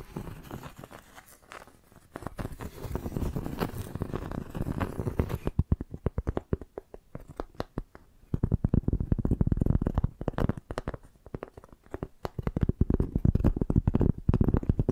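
Long nails scratch and tap the ridged inner surface and edge of a flat piece of tree bark held between two microphones. The result is a dry, close-up scratching with dense, rapid clicks and taps, mostly low and dull, that grows busier and louder in bursts after a quieter start and a brief lull midway.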